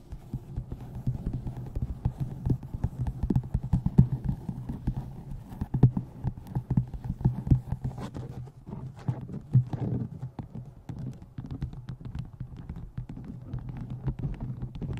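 A paperback book is held at its sides while long nails tap on the side edges of its card cover and pages, close to the microphone. Quick, dull, low-pitched taps run continuously and unevenly, some louder than others, with very short decay and little high-end.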